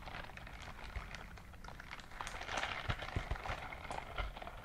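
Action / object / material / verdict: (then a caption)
scrape / silicone scrubbing glove / silicone / none. A gloved hand in a white silicone dishwashing glove clenches and opens so the silicone bristles rub against each other. This makes a dense, soft, crackling rustle with rubbery squeaks and a low rumble underneath. The sound grows a little louder in the second half, with a few sharper ticks standing out.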